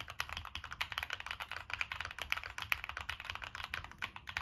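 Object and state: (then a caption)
Mechanical keyboard being typed on. Fingertips type continuously on a Monsgeek M1 mechanical keyboard with a black aluminum case, plastic keycaps and NK Cream switches. A steady, rapid run of short, bright clacks, centered around 2.3 kHz, has very little low end. Each keystroke stops almost instantly.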